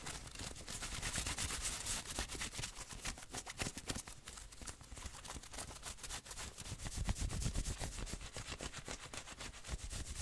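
Fingertips and nails scratch fast over the chest and sleeve fabric of a worn grey and maroon fleece hoodie with a printed logo. The result is a dense, irregular run of short, dry, rough strokes with bright hiss over a low, dull rumble.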